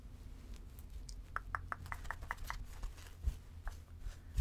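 Long nails scratch and rub the fur of a medium, soft, pink, furry plush teddy bear. A quick run of short, dry scratching ticks in the mid range rises over a steady low rumble, then thins into a few scattered scrapes.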